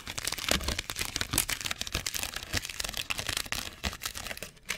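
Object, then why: Thin clear molded plastic tray piece. A torn piece of a thin, clear molded plastic cookie tray, ridged, hollow and empty, is held in both hands close to the mic and crumpled and crinkled with fingertips and short nails. Dense, bright crackles and sharp snaps come in quick bursts that stop short with almost no ring, mostly high with a little low thump.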